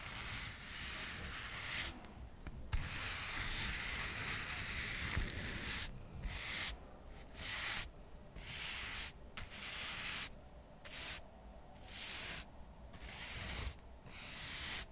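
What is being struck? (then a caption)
Stack of cork coasters. A soft paintbrush is brushed across the face and edges of a small, solid stack of square cork coasters. It makes a bright, airy hiss: steady brushing at first, then shorter strokes broken by brief quiet gaps, with a faint low rumble underneath.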